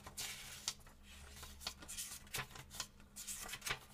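A small paperback book with paper pages is held open in both hands over a table while fingertips turn and riffle the pages, with a second book lying flat and untouched nearby. Bright, crisp papery flicks and rustles snap out in quick bursts over a soft rubbing hiss and a faint low steady hum.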